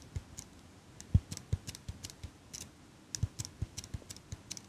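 A small metal eyelash curler is held in one hand while long pink nails click its handles open and shut and tap its metal frame. About nineteen quiet, short, dry clicks and taps come at an uneven pace, each with a soft low thump and a bright tick that dies away almost at once.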